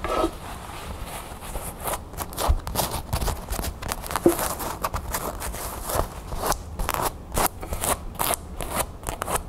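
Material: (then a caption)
Cotton canvas. Long nails scratch and tap on a cream cotton canvas bag with a blue crown print, held upright in the hands. The result is a steady run of soft, hollow fabric scratches and quick taps, with brief brighter rasps and faint low rumble throughout.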